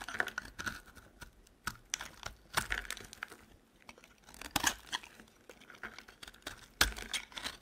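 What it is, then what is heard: Dry soap bar being carved with a blade. A metal utility knife blade scrapes and carves flakes off a solid, dry, white oval soap bar held in the hand. The result is a run of crisp, dry scrapes and crackly, crumbly flaking with bright, high edges. Sharper cuts stand out every so often over a quiet background.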